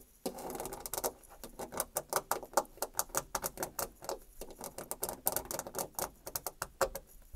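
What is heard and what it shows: Long nails scratch and tap across the grain texture and molding of a white painted molded panel door with textured rail and panel molding. An opening rough scrape gives way to a quick, uneven run of about 35 short, dry clicks and taps with bright, crisp edges and almost no ring.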